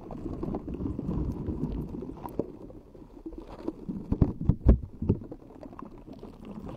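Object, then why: Metal mesh microphone grille tapped with fingernails. Long acrylic nails tap and scratch the round, hollow metal mesh grille of a pink, rhinestone-decorated microphone. The sound is a dense, muffled, bass-heavy scratching and rumbling, with a cluster of sharper, louder taps in the middle before it settles back into softer scratching.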